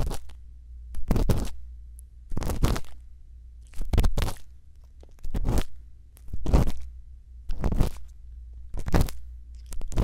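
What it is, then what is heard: Silicone ear microphone scraped with an earpick. A bamboo earpick scrapes inside the ear canal of a white silicone ear mounted on a round microphone housing. Close, crunchy scraping comes in repeated bursts about every second or so. Between strokes, a steady low hum sits underneath.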